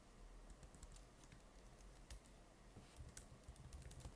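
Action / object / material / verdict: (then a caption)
tap / plastic laptop keyboard keys / plastic / none. Fingertips tap continuously on the plastic keys of an open laptop with a stickered palm rest. The result is a quiet run of soft, bright clicks with short decay over a steady low hum.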